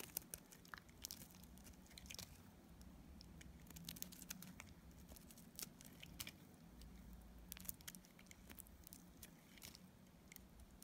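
A solid pink bar of dried soap is cut into chunks with a metal utility blade. Many sharp, brittle crunches and scraping cracks come in irregular bursts over a low, steady hum. Each snap rings bright and dies away instantly.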